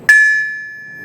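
A Peter Wright anvil, set on rags or rubber to insulate it from its stand, is struck once with a hammer. It gives a clear, bright ring near 1.7 kHz that sustains with a long after-tone. The ring marks it as a steel anvil rather than a dull cast iron one.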